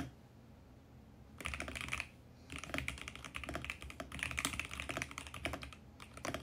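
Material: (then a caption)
Plastic. Fingertips type quickly on a compact VGN X68 mechanical keyboard with plastic keycaps and a mint case. After a quiet start, a short burst of crisp, bright key clacks gives way to a brief pause. Then comes a longer stretch of rapid, continuous typing that dips briefly before resuming at the end.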